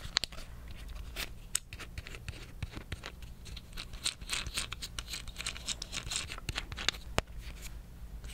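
Fingernails tap and scratch the shell of a small green plastic tape dispenser with a tape roll inside, held in both hands. Quick, irregular, bright clicks and scratchy rustles overlap throughout at a quiet level, over a steady low hum.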